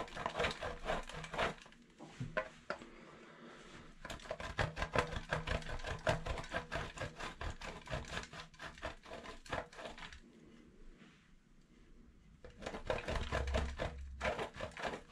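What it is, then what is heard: Bar soap grated on a metal grater. A solid white bar of soap, held in the fingertips, is rubbed down the holes of a stainless steel box grater over a bowl of colorful shavings. Quick, uneven rasping scrapes come in bursts, broken by quieter pauses with soft brushing in between.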